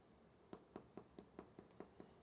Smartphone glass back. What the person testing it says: this is very Hollow in comparison to the 14 pro Max